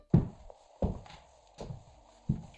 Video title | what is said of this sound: Laminate vs LVT Flooring: What I Tell Clients to Avoid Regrets | It's a quieter sound and feels better quality underfoot.